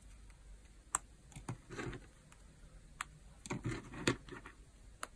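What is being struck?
Pile of crumbled soap chips.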